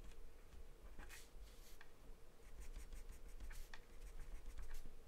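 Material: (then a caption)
Paper. A pen-like drawing pencil scribbles across a thin, flat sheet of white drawing paper taped down. Quiet, bright scratchy strokes come in short bursts over a low, steady rumble and a faint hum.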